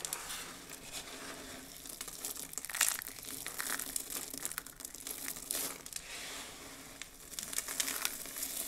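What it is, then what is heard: Dried soap shards being crushed. Both hands with long blue nails squeeze, scoop and press flat on a heap of small, brittle pink, blue and white dried soap pieces, crushing them. A dense, bright crunching and crackling runs throughout with almost no low end, swelling into louder bursts near 3, 5.5 and 8 seconds.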